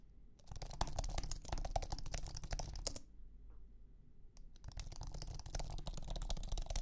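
Fingertips type on a thin, low-profile iMac keyboard with an aluminum base and white plastic scissor keys, making a quick, uneven stream of soft clicks with a low, muffled thump beneath them. The typing runs for about two and a half seconds, stops for a brief near-silent pause, then resumes until the end.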